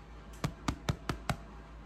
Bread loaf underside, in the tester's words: give it a good thump hear that hollow sound that means that all the moisture has come out of this bread and it is done cooking